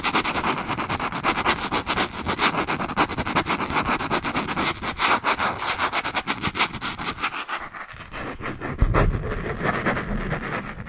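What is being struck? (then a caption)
Small spiral notebook with cardboard cover and metal wire binding. A small spiral notebook with a green cardboard cover and metal wire binding is scratched and tapped with long nails. A dense run of rapid, bright scratching clicks fills the first eight seconds, then gives way to softer rubbing with a low thump near the end.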